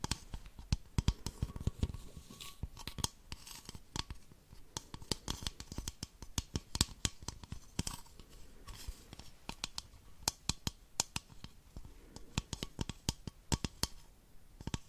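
Long nails tap and scratch the body of an empty, hollow, clear plastic baby bottle with a yellow collar. The result is a steady run of sharp, dry clicking taps mixed with soft scratching. Each tap is crisp and bright and dies away almost at once.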